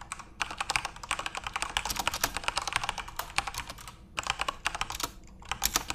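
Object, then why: Plastic mechanical keyboard keys. Fingertips type on a full-size RGB-backlit Corsair mechanical keyboard with plastic keycaps, making rapid, bright, short clicky keystrokes. The typing comes in bursts, with brief pauses just after four seconds and again near five and a half seconds.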